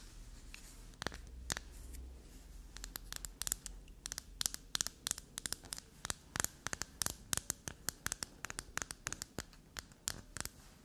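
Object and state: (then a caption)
Black soap bar. Long natural nails scratch the faces and edges of a small, solid, flower-shaped black soap bar, grey under the lighting and held in the hand. Dozens of sharp, dry, bright clicks and scrapes come in quick bursts over a low steady hiss, each dying away almost at once.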